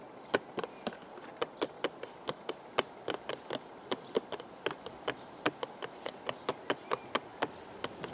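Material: Cardboard.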